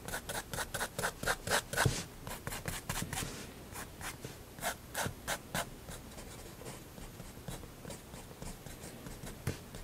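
A fineliner pen nib is drawn across a large white spiral-bound sketchbook page lying flat on a wooden table in quick hatching strokes. Bursts of dry, bright scratching and rubbing repeat at an uneven pace, busiest in the first few seconds and then thinning out into sparser strokes.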